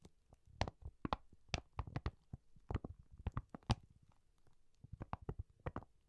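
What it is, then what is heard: Plastic-coated pencil case tapped with nails. Long nails tap and scratch the glossy, printed emoji plastic cover of a cylindrical zippered pencil case held horizontally. Quiet, dry, clicky taps with a low thumpy body and bright tips come in irregular clusters, with no ring.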